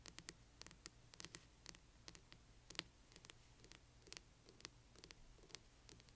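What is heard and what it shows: Long nails scratch along the spine and cover edge of a large hardcover book. The result is a quiet, rapid series of short, dry, bright scratching ticks with no ring, over a faint low hum.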